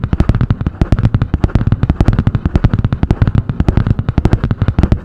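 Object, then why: Spiral notebook with cardboard cover. Long painted nails tap and scratch quickly on the cardboard hard cover of a medium spiral-bound notebook with a butterfly print. A rapid, uneven stream of short, dull, bass-heavy knocks runs throughout, each dying away almost instantly, with a soft scratching texture between them.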